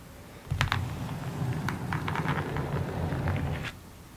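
Long nails tap rapidly on the surface of a long, hollow, rectangular printed cardboard kit box. The result is a run of quick, bright clicks over a low, hollow rumble that starts at about half a second and stops abruptly near 3.7 seconds.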